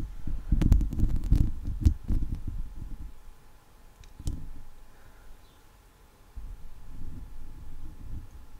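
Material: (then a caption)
Steel mesh. Long leopard-print acrylic nails and fingertips scratch and rub the hollow steel wire mesh head of a microphone. The result is a deep, muffled rumble with sharp crackling clicks, loudest in the first two seconds. It fades to a quiet stretch, then returns as softer rubbing near the end.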